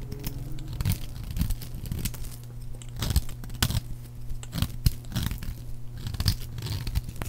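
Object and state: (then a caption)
Bar of dry soap being shaved. A palm-sized, solid green rectangular bar of dry soap is shaved with a metal blade into long thin strips. Dense, dry scraping and crisp cutting crackles come in quick bursts over a steady low hum.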